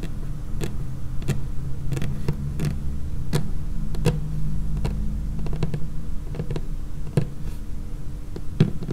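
Long painted fingernails of both hands tap on a large, flat, solid, dark laminated wooden tabletop. Quick, sharp, bright clicks scatter irregularly over a low, steady hum, each tap dying away almost instantly.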